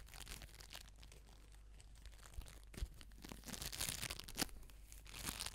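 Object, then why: Small ball of foam beads. A palm-sized orange ball of crunchy foam beads, floam-like, is squeezed, scratched and rubbed with long nails and fingertips. Quiet, bright crackling and crunching run throughout, with short sharp crinkles and a few louder crunches toward the end.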